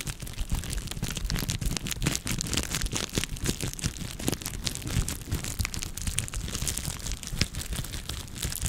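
A clear plastic bubble wrap sheet is held in both hands and scratched and squeezed with long nails. It makes dense, continuous crinkling full of quick, sharp clicks and snaps with a bright, hissy edge over a low rumble, at a steady level throughout.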